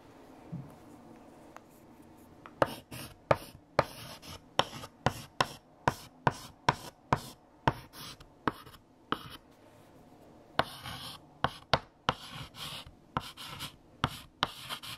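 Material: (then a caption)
Chalk. A hand writes with a light blue chalk stick on a large, flat, freshly erased black chalkboard. After a quiet start, a run of short, sharp chalk taps and scratching strokes begins, each with a bright, dry attack and almost no ring. The strokes pause briefly partway through, then resume for 21 distinct hits in all.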